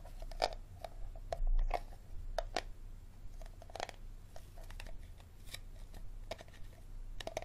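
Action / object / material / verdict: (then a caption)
scrape / plastic water bottle / plastic / none. Fingernails scratch and tap the ridged bottom of a small, empty, clear plastic water bottle held base-forward, its hollow body sounding each contact. Quick, crisp clicks and papery scratches are scattered through the clip over a steady low hum, with a brief louder rustle near the 1.5-second mark.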